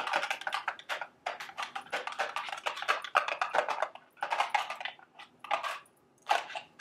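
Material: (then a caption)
Cardboard. Long, sharp acrylic nails tap quickly on a small, hollow, printed cardboard candy box shaped like a milk carton, standing on a table. The taps are dry and clicky with a papery midrange and very short ring. They come in rapid bursts separated by brief pauses.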